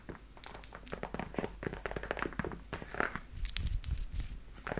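Long nails tap and scratch along the shaft and toe of worn black leather knee-high high-heel boots, producing a dense run of quick, dry taps with crinkly scratching and low thuds.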